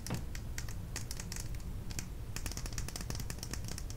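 Long nails tap rapidly along a small, slim plastic lip gloss tube with a beige cap and dark red product inside, moving over both the tube and the cap. The result is a quick series of light, crisp plastic clicks and ticks that resemble keyboard typing, heard over a steady low hum.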